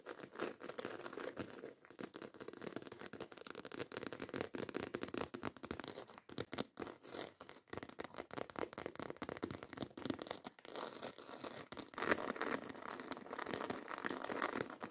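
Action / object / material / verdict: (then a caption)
scrape / embossed faux leather handbag / faux leather / none. Long acrylic nails rapidly scratch and tap the front of a black croc-embossed faux leather handbag. The result is a dense, dry stream of short scritches and clicks centered in the mids with little low end, growing a bit louder and brighter toward the end.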